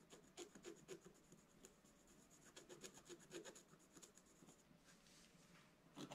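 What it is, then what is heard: Scratch-art paper page. A wooden stylus scratches the black coating of a scratch-art paper page in a flat book, then continues while held upright. Quick, uneven scraping strokes repeat at about four per second, with a dry mid-range rasp and a faint high whistle-like streak. The strokes end in a sharp final scrape.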